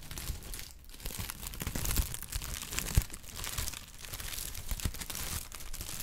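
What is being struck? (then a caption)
Kraft honeycomb packing paper. Brown kraft honeycomb packing paper is squeezed and crinkled with fingers, producing a steady, dense crinkling and crackling with a heavy low rustle underneath and bright papery snaps on top. The texture swells and eases throughout, with one sharper crackle standing out midway.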